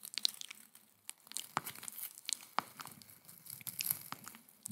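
Long white acrylic nails scratch and crinkle a small, hand-sized coiled stainless steel scouring pad held in one hand close to the microphone. It makes quiet, bright, crisp crackling and scratchy ticks at an irregular pace, with almost no low end and no ringing.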